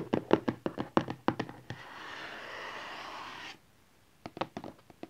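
Fingertips and nails of both hands tap rapidly on a small rigid cardboard smartphone box lying flat, front up. Quick, dry, hollow taps come in an uneven run, give way to about two seconds of steady, brighter hiss, then a short silence before a few more scattered taps.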